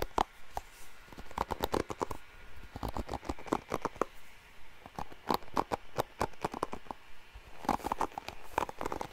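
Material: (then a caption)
Plastic. Fingernails scratch across the bristles of a blue plastic paddle hairbrush held by its handle. Quick, dry flicking and scraping bursts come in uneven clusters, each one short and crisp with a bright edge. Brief quiet gaps separate the bursts.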